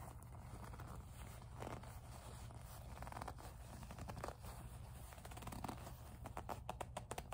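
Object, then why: Small faux-leather zippered pouch. Long acrylic nails grip, squeeze and rub a small, soft, hollow pink faux-leather zippered pouch. The result is slow squeaky gripping and scratching sounds over a steady low hum. Toward the end, the scratches turn into quicker, sharper bursts.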